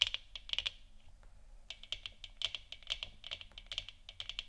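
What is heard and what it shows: Long dark nails scratch and tap the upper and lower surface of a hollow plastic moon lamp sphere. A quick, uneven series of sharp, bright clicks centred near 3 kHz dies away almost instantly, with a soft scratchy texture between the taps and a brief pause near the start.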